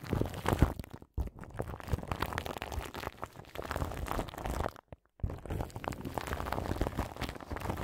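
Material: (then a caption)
Plastic film. Long nails scratch and tap crinkly plastic film wrapped over the grille of a large microphone. The result is a dense, continuous crinkling and crunching with a heavy low rumble, broken by brief silent gaps around 1 second and 5 seconds.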